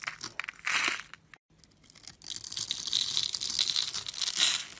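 A metal blade scores a grid into a rectangular, blue-and-white striped solid bar of soap held in the hand, then scrapes off small cubes. Bright, dry scratching and crunchy crinkling come in short bursts, stop for a brief silent gap, then return as a denser, steady, high-pitched scraping that swells near the end.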